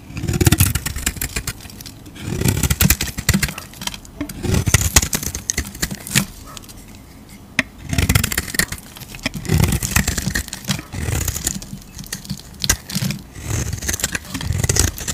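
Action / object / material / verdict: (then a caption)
scrape / coated bar soap scraped with a knife blade / soap / none. A utility knife blade scrapes the metallic blue coating off a palm-sized solid soap bar with a white core, peeling it away in shavings. Repeated dry scraping strokes come in low, muffled bursts about every two seconds, with crisp bright ticks and clicks of the blade in between.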